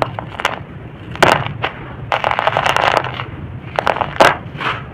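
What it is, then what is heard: Dry loose soil being raked and crumbled. Bare fingers scratch and rake through a large pile of dry, loose red-brown soil, crumbling it. Short, dry, crunchy crackles and gritty scratching bursts come and go over a faint low background rumble.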